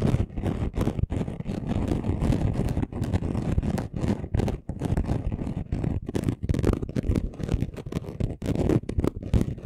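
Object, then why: Chunky glitter craft sheet. Short nails scratch quickly across the surface of a flat chunky gold glitter craft sheet. The result is a dense, rough, low-heavy rasping made of rapid strokes with brief gaps, plus a faint bright hiss at the top.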